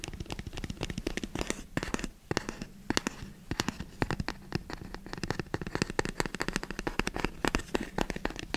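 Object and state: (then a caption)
Cardboard box tapped and scratched. A hollow black rigid cardboard box is held upright by the microphone and tapped and scratched with fingertips. Rapid, dry, close-up taps and crackling scratches follow one another with very short decay over a hollow low thump, continuing for the whole clip with brief quieter gaps.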